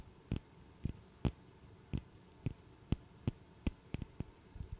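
A small, solid, light-wood interlocking burr puzzle is held in the fingers and tapped and clicked with the fingernails. Twelve short, dry, quiet clicks come at uneven intervals, with the last few closer together, each dying away almost instantly. The taps have a dull, low-weighted body and very little bright edge.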